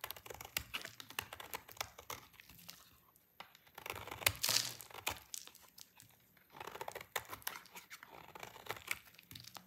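A solid pink dry soap bar is cut with a utility knife until only a thin piece remains in hand. The cutting makes dense, bright crackling and crunching with short, sharp snaps. It swells into a louder scraping rasp near the middle, with brief quieter pauses between passes.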